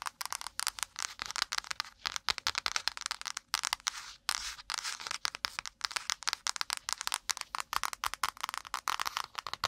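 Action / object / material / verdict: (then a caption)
tap / cardboard notepad cover / cardboard / none. Long pointed nails rapidly tap and scratch the brown kraft cardboard cover of a small wire-bound spiral notepad held close to the mic. The result is a dense, bright stream of dry, crackly clicks and rough scraping with no low end, broken by brief pauses between bursts.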